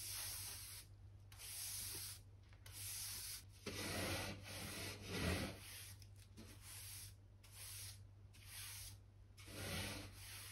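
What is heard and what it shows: A soft natural-bristle hand brush, held in the fingers, sweeps over the boards of a solid oak plank floor with little debris. About eight airy, hissing brushing strokes come in uneven bursts, bright and broad with a steady low hum underneath.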